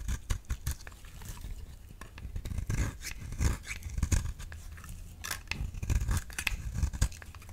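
A solid lilac bar soap, held in hand, is cut with a utility knife blade into thin curled shavings. Close, dry scraping and crisp clicking cuts repeat irregularly, with bright transients over a low, muffled rumble from handling.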